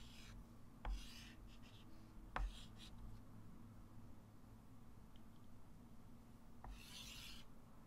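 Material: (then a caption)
Chalk. A white chalk stick draws arrows, circles and digits on a small, solid, wood-framed flat chalkboard. Bright rubbing and scratching strokes come in bursts, punctuated by a few sharp taps of the chalk against the board, over a quiet low hum.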